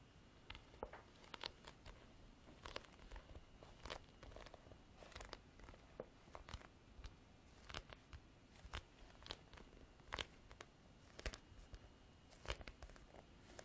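Long black artificial nails tap and scratch a large, flat, black faux-leather-textured hard-cover folder or diary with a rigid board under the cover, held upright. Quiet, irregular clicks and dry crunchy scratches sound over a soft, low rustling background, with bright transients and a faint steady tone near 3 kHz. Each tap dies away almost at once.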